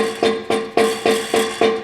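A rubber hammer taps the steel exhaust pipe of a 2005 Duramax six times, mimicking engine vibration, and each tap gives a sharp metallic knock with a brief ringing tone around 450 Hz. The taps bring out the same annoying rattle heard while decelerating, showing a loose exhaust part. The V-band clamp was checked and is not loose, so a heat shield near the transmission plug-in is the likely source.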